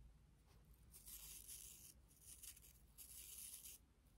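A pink and clear plastic toothbrush with colored nylon bristles is scratched by long nails across its bristles and handle. Two long bursts of bright, hissy scratching stand out over a low steady hum, with a fainter scratch in between.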